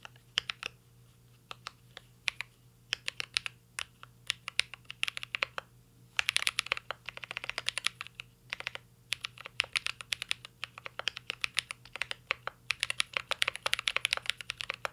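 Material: Plastic, aluminium.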